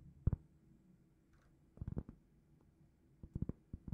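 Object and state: Cork trivet tapped with fingernails.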